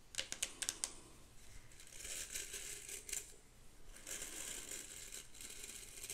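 Long pink acrylic nails scratch and flick across the nylon and natural bristles of a vintage, ornate hairbrush with a metal back and handle, held close to the mic. A quick burst of sharp, bright bristle flicks comes first, followed by softer, steady scratchy hissing that swells and fades, all quiet and concentrated in the high frequencies.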